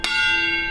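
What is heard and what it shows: A steel railway carriage wheel is struck once in a wheel tap test, which listens for a change of note to tell whether a wheel is fractured or sound. The tap gives a bright, bell-like ring with a clear pitch near 2.75 kHz that sustains steadily through the clip, marking the wheel as sound.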